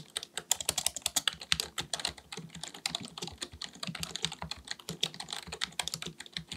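Fingertips of both hands type rapidly on a black full-size plastic computer keyboard resting on a desk. A steady, uneven stream of quick, bright clicks and taps rings mostly in the high range, with only a faint low thud under each keystroke. Each tap dies away almost instantly.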